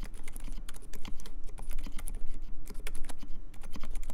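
Fingertips type fast and continuously on the alpha keys of a compact mechanical keyboard with Dolphin silent switches, cream plastic keycaps and a metal case. The result is a dense, steady patter of short, soft clacks, each with a low thump and a bright click.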